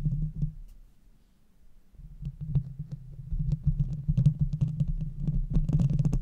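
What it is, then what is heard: Metal microphone grille. Long red nails scratch and tap the sides of the hollow metal mesh grille on a silver Blue Yeti microphone with both hands. The result is a deep, muffled rumbling of dense, irregular scraping and tapping. It dips quiet around the first second and then grows louder and busier, with faint bright clicks on top.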